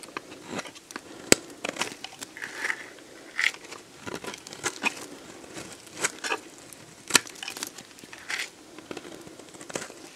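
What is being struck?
Bar of soap cut with a blade.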